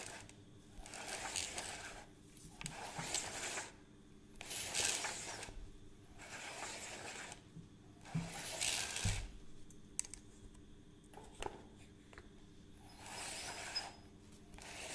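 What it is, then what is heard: Plastic measuring tape reel. Fingertips tap and click on the plastic case and crank of a measuring tape reel held by its rim. The result is a run of sharp, bright clicks and scratchy bursts that come and go over a low steady hum.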